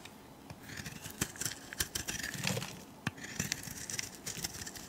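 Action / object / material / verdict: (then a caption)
scrape / bar of soap shaved with a metal blade / soap / none. A palm-sized, egg-shaped turquoise and white bar of soap, held in the hand, is shaved with a metal utility blade. Soft, crisp scraping strokes come in quick bursts with bright, dry edges, and the soap curls fall away.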